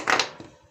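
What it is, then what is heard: Laptop charger with a loose metal piece inside. An opened laptop charger housing is dropped and knocked to shake loose a metal fragment inside, producing two short, bright plastic knocks with a light rattle. A strap-like metal piece falls out and is blamed as the likely cause of a short circuit.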